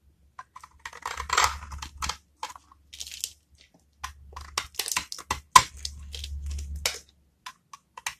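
A utility-knife metal blade scrapes across the surface of a small, solid, rectangular bar of dry brown soap held in one hand, shaving off crumbly flakes. Short, dry, crunchy scratches and bright crackles come in uneven bursts, with longer rasping strokes between them and a low hum underneath.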